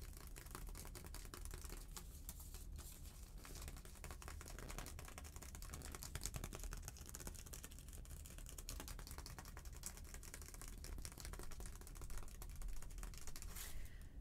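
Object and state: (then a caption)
Kraft paper envelope. Long painted nails tap and scratch the surface of a small, thin, flat brown kraft paper envelope with a round seal, held in both hands. A dense, quiet stream of rapid, crisp papery clicks and scratches, like soft typing, continues throughout over a steady low hum.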